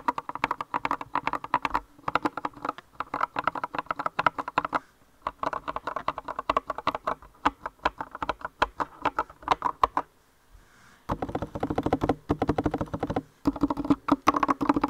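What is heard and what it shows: Fingertips with long red nails type on a compact green-cased mechanical keyboard with rounded white and light-green plastic keycaps. The result is rapid bursts of short, crisp clicky taps centered around 1 kHz, with brief pauses near 2, 5, 10 and 13 seconds.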